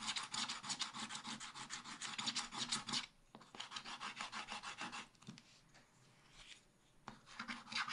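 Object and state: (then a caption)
Scratch-art paper being scratched. A wooden stylus scratches the remaining black areas at the right and bottom of a black-coated scratch-art paper page. It makes rapid, bright, raspy back-and-forth strokes. The scratching pauses briefly, turns lighter and more scattered, then picks up again at the end.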